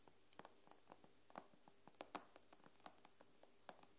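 The nail tips of curled fingers tap the glass screen of an iPad in a quick, irregular run. Each tap is a short, dry click with a bright edge that dies away almost instantly, over a quiet, steady low hum. A few taps land harder and sharper than the rest.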